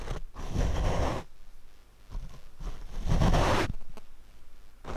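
A paint brush is brushed across the black foam windscreen of a Rode microphone, producing heavy, low, rumbling scratchy swishes. Long loud strokes alternate with quieter, lighter brushing in between.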